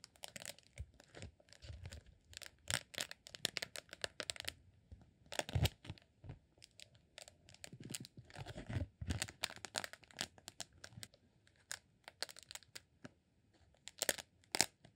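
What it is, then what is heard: Beeswax sheet. A partly rolled green honeycomb beeswax sheet is unrolled and scratched with fingertips. It makes quiet, dense crackling and tearing-like scrapes with bright, crisp textures over a soft low rumble. Louder bursts stand out now and then.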